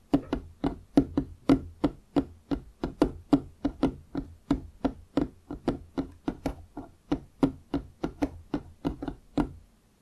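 Fingertips of both hands tap and knock on the surface of a large solid wooden desk top. About 33 quick, dry knocks come at an uneven, brisk pace, each with a woody tone near 277 Hz and a bright click at the start that dies away almost at once.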